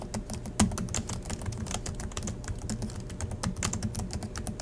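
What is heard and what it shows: Both hands type steadily with fingertips on the black plastic chiclet keys of a silver Acer laptop resting on a desk. The result is a rapid, continuous stream of short, dry key clicks, each a bright tap over a soft low thump. The sound is fairly even in level, with a few sharper presses standing out.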